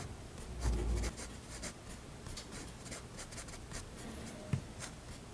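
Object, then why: Fineliner pen on paper sketchbook page. A fineliner pen tip scratches rapid hatching strokes near the bottom edge of a spiral paper sketchbook page resting on a desk. Quiet, dry, bright scratchy strokes repeat quickly and unevenly, with a dull low thump near the start and a sharp tap near the end.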